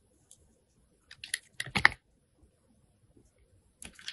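A metal box cutter blade shaves the surface of a solid white rectangular Jergens soap bar held in the hand. Short, crisp, bright scraping clicks come in quiet clustered bursts, strongest in the middle, with near-silent gaps and another cluster at the end.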